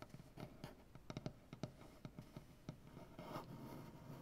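One hand taps and knocks with fingertips and nails on a large solid maple butcher block tabletop. It makes a quiet, uneven run of short, dull, low knocks that die away almost instantly, with a brief softer brushing sound near the end.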